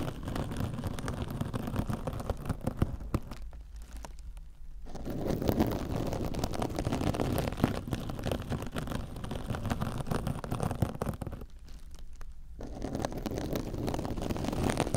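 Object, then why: Metal-fibre mesh scouring sponge. A soft, compressible silver metallic-fibre mesh kitchen scrub sponge is held against a microphone ear and scratched with long orange nails. The result is a dense, crackling, rustling scrape, heavy in the low end, that briefly thins out twice before resuming.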